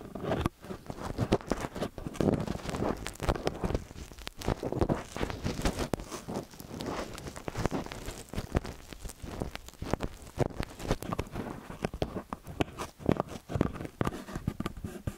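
A small metal X/Y stereo microphone with two silver mesh-ended capsules on a dark body rests on a white cylinder while fingertips and long nails press, tap and rub the capsules. The result is a dense run of close, muffled thumps, scratches and crackly rustles weighted toward the low end, with quick taps that die away almost instantly.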